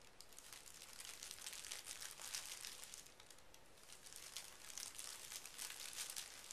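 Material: Paper.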